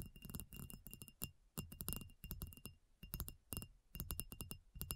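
A solid reddish-brown and grey rectangular marble block is tapped with long nails. The result is a rapid, irregular run of short, dry clicks with almost no ring, carrying a deep low thud beneath a bright tick.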